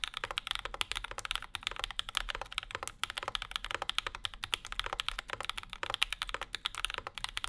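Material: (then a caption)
Aluminium, plastic. Fingertips of both hands type steadily on a compact Bauer 2 mechanical keyboard with Zykos switches, an aluminum plate and plastic keycaps, resting on a desk mat. Dense, fast keystrokes are heard as bright, sharp clicks that die away almost instantly. There is little low end, and a faint low hum sits underneath.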